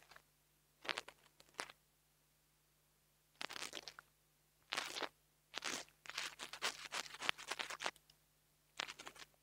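A metal nail tool tip scratches the metal grille of a small black plastic mini lavalier microphone. It makes bright, crunchy, scratchy bursts in short bouts separated by near silence, with a faint steady low hum underneath.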